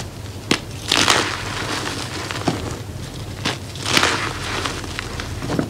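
Fingertips and palms squeeze and crush handfuls of crumbly, dry, blue-white homemade reformed gym chalk chunks in a powder-filled tray, breaking them into smaller pieces and powder. Dry, bright crunching and crackling bursts come in waves, with sharp snaps standing out among softer grainy crumbling.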